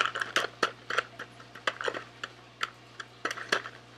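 A small sealed SweetTarts cardboard box, hollow and filled with candy, is held in both hands and rubbed and scratched with fingertips and nails. Short, dry scratching and tapping bursts with a papery, bright edge come in an uneven run over a faint steady low hum.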